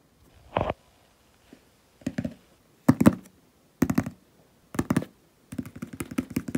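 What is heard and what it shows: Fingertips and nails tap and scratch the paper label on a medium hollow cardboard shipping box lying on a wooden table. Short clusters of dry, hollow knocks with a papery scrape come in separate bursts, ending in a quicker, steady flurry of taps. Each tap dies away almost at once, with no ring.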